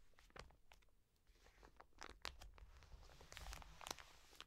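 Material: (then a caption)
Soft plastic. Long nails scratch and tap a full, soft plastic wet wipes pack resting on a table. Quiet, crinkly rustling is broken by sharp, bright ticks and taps that die away almost instantly.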